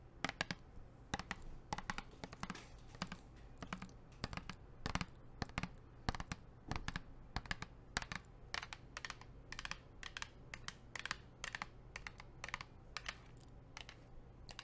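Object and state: Plastic water bottle tapped with nails.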